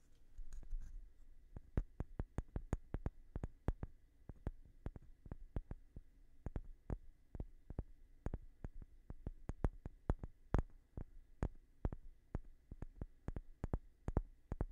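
A light-colored, palm-sized solid wooden block is held up close to the mic and tapped with fingertips and short nails. A long, uneven series of quiet, dry taps follows, each a short, dull knock with a soft low thud that dies away almost instantly.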